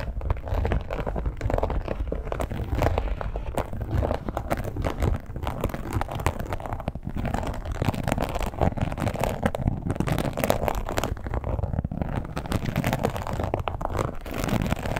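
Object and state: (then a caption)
Textured leather wallet being scratched and tapped. Long acrylic nails tap and scratch across the top of a red, glossy, croc-embossed leather wallet. The result is a steady, dense stream of soft, muffled scratching and quick taps, heavy in low tones with almost no high brightness.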